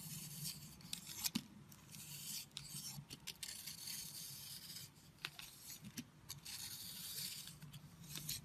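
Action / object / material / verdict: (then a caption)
scrape / starch-coated soap bar / soap / none. A box cutter blade scrapes and carves the powdery blue and red starch coating from a solid heart-shaped soap bar held in the hand. The result is a steady, bright, gritty rasp with sharp crackling snaps and crumbling flakes throughout.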